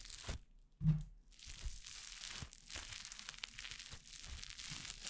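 Fingers with painted nails tear, knead and press orange crunchy foam-bead slime (floam) close beside a microphone. A soft low thump comes early, followed by a steady stream of fine, bright crackling and crunching as the beads pop and the slime stretches and tears.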